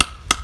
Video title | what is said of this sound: Tapping your own Maple Trees Part 1 | we can hear it change to more of a thud